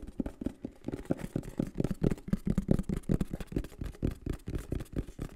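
A green and black printed cardboard microphone box is held in the hands and tapped and scratched with the fingertips on its faces and edges. A rapid, uneven series of soft, dull, hollow taps sits mostly in the low range with a faint papery scratch above. Each tap dies almost instantly.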